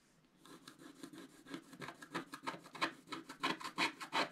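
A wooden stylus scrapes the wax coating of a flat scratch-art paper sheet in its center and lower areas, with a paintbrush lying unused nearby. After a brief quiet start, about 16 dense, quick, dry scratching strokes rasp across the page, each a short bright scrape. The strokes grow louder and more pronounced toward the end.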